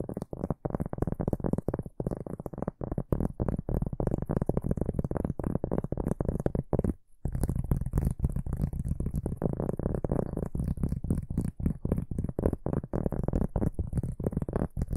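A large, flat, solid round cork board or trivet, held upright in both hands, is scratched and tapped by fingertips and short nails across its grainy surface. The result is a dense run of quick, dull, low thuds and rough scratching with a faint high hiss above, broken by a brief pause just past the midpoint.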